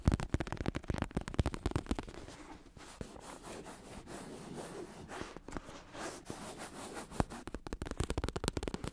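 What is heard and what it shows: A black bicycle saddle with red trim, made of synthetic leather over a padded plastic shell, is held in both hands while fingertips tap and lightly scratch its curved top and hollow underside. Rapid dull, low tapping thuds at the start and end frame a quieter stretch of soft, continuous scratching in the middle. The taps are short and muffled, with no ringing after each one.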